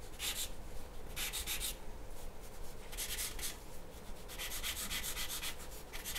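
A graphite pencil makes shading strokes on a large, flat white paper sheet resting on a wooden table. Bursts of bright, dry scratching and rubbing come and go in quick runs over a steady low background hum.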